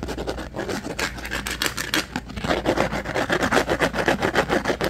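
Fingernails scratch and tap quickly across the surface of a rigid, hand-sized, pink plastic rectangular food-container lid held in both hands. The result is a dense, uneven stream of short, dry clicks and scrapes with a brittle plastic character. It grows louder and more rhythmic in the second half.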